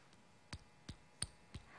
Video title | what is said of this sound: 20170717【54新觀點PART2】寶物艦定！西漢「透光鏡」有魔力 光束一投射觀世音就顯現？│陳斐娟主持│三立新聞台 | 这次就没有了哦。刚刚那个就晃，有没有？